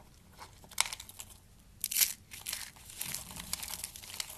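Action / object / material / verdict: scrape / soap shavings / soap / none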